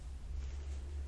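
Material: Nothing is struck.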